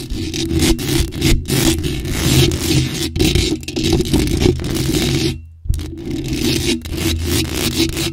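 Long acrylic nails scrape and tap a bare, hollow black metal mesh microphone grille. The result is a dense, continuous scratching texture with a steady low rumble, rhythmic tapping and a bright hiss. Near the end it cuts out briefly before resuming.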